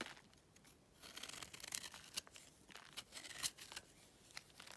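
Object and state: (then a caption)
Dry clay chunk scraped. A utility knife scrapes the top of a smaller, solid, pale block of dry clay held in the hand, curling off crumbly flakes. The sound is a quiet, dry, bright scratching and crackling made of many short, rasping strokes, with a few sharper crisp peaks and almost no low end.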